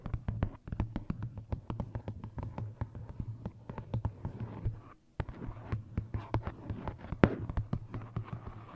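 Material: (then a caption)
Paper. Long nails tap and scratch across the cover of a tilted "Lost Ocean" paperback coloring book. Around thirty quick, dull, close taps come with soft scratching and a low hum underneath, pausing briefly near the five-second mark before resuming.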